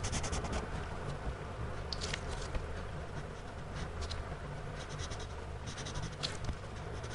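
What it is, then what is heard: Pencil shading on a sketchbook page. A gloved hand shades on a spiral-bound paper sketchbook lying flat with a blue-bodied pencil, its tip scratching the paper in repeated strokes. The scratches come in bright, brushy bursts over a steady low rumble, holding an even, quiet level throughout.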